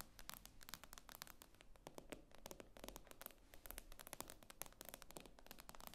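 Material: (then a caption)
Glass. Long painted fingernails of both hands rapidly tap and scratch across the glossy glass screen of a solid tablet lying flat. The result is a quiet stream of sharp, bright clicks with very short ring, mixed with scraping and a low rumble underneath.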